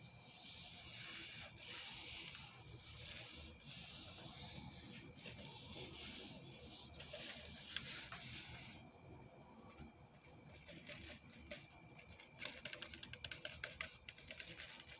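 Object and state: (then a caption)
Styrofoam drink cup. A large white styrofoam fast-food cup with a plastic lid and straw is held in the hand while fingertips and nails scratch and tap its hollow side. Soft, bright, hissy rubbing and scraping fill the first nine seconds, then quieter scratching follows. Quick, dry taps and ticks close the clip.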